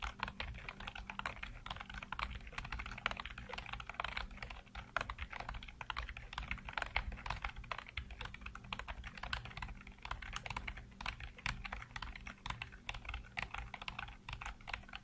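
Fingertips rapidly tap and type on the hollow keycaps of a full-size black plastic computer keyboard. The result is a fast, continuous stream of short, dry clicks and clacks with bright tops, over a steady low hum.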